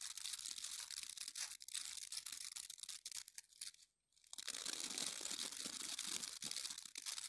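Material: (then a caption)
Plastic. Fingertips and nails rub and scratch the dense yellow and orange plastic bristles of an oval scrub brush with a white plastic base, held in both hands. A bright, dense, crackling scratch fills the clip, dropping to near silence for a moment around the four-second mark before resuming just as busy.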